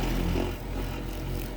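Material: Nothing is struck.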